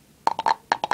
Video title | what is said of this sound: Funko Pop Thor bobble head figure | as you could hear the sound yeah it sounds Hollow in there